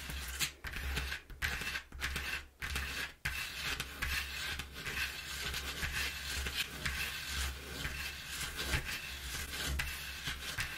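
Long nails scratch and tap the inside surface of an open, empty corrugated cardboard box lying flat. The result is a dense, bright, rasping scratch broken by short pauses and soft taps early on, then a steadier run of scraping over a faint, constant low hum.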